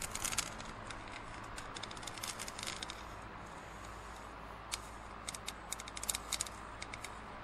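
Fingernails scratch and tap the side of an empty, hollow printed plastic cinema cup with a blue rim, held tilted. Dense bright scratching fills the first three seconds, fades to a quiet hiss with a steady low hum, then gives way to sharp, short, bright taps in the last few seconds, all at a soft level.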